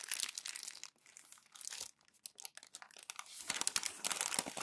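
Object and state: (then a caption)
Glossy magazine paper being crumpled. Bare hands with long nails crumple and rub glossy magazine pages into folds, making bright, dry crinkling and crackling. Bursts of crackle come in an uneven rhythm, ease into a quieter stretch of soft rustles midway, then build into denser, louder crinkling toward the end.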